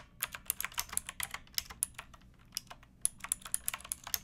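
Fingertips with long nails type on a pink backlit mechanical keyboard with plastic keycaps resting on a wooden block. The result is a quick, uneven run of sharp, bright clicks and clacks with very little low end, each snapping off almost instantly. There is a brief lull in the middle before the typing resumes.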